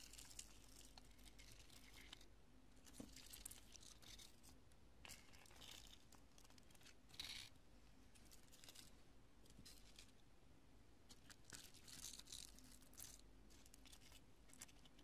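Long nail tips tap and scratch scattered chunks of cured, porous, solid pale-yellow polyurethane spray foam resting on a purple cloth. Dry crinkling, crunching and scratching crackles come in bright, high-pitched bursts over a steady low hum, with some louder tearing-like crunches standing out.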